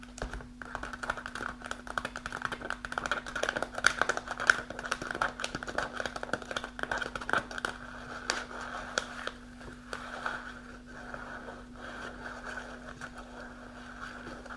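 Long nails tap the front panel of an upright, partly full kraft paper snack pouch in rapid, dry, papery clicks with a crinkly midrange rattle and no ring after each tap. The tapping is sharpest and most spaced in the first half, then settles into a softer, denser rustling patter over a faint steady low hum.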